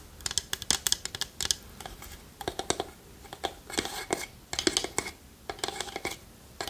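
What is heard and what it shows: A small hollow wooden pot with a lid and a wooden spoon inside, held in a palm, is tapped and scratched with long nails. The result is a quick run of dry, bright clicks and short scratchy bursts, with hollow little knocks that die away almost instantly.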